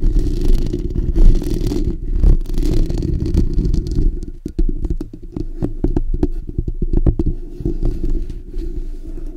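Fingertips and short natural nails of both hands scratch the bare steel wire-mesh hollow dome grille of a black desktop condenser microphone. A dense, low rumbling scrape runs throughout, and from about four seconds onward, quick, sharp, irregular scratches break in with brief bright clicks.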